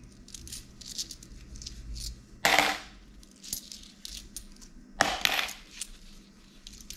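A few small metal coins, copper-colored pennies and gold-colored dollar coins, are held in a palm and sorted by fingers in thin plastic gloves. Soft, bright clinks patter irregularly as the coins knock together, with two louder clattering drops as coins are let fall.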